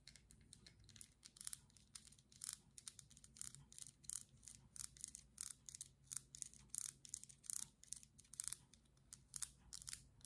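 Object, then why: Small plastic cream jar with lid. Long glittery acrylic nails tap and scratch the white lid and sides of a small teal plastic cream jar. A quiet, rapid series of crisp, bright clicks and brief scratchy rasps plays over a faint low hum. Each tap dies away almost instantly.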